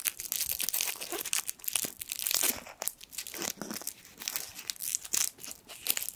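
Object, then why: Foil sweet wrapper. A small gold foil sweet wrapper is crinkled and twisted between the fingertips. It makes a dense stream of bright, sharp crackles and crinkles with almost no low end. The crackling swells and fades in uneven bursts.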